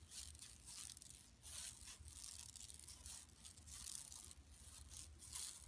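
Long nails scratch across a large, flat, empty yellow woven plastic mesh tote bag lying on carpet. The quiet sound is a bright, dry, rasping scrape that comes in repeated swelling strokes, with a faint low rumble underneath.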